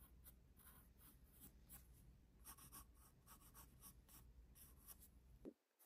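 A graphite pencil held in the fingers scratches short strokes onto an open paper sketchbook page, producing a run of quick, bright scratchy bursts. A steady low rumble sits underneath until a soft thump near the end, after which it drops away to near silence.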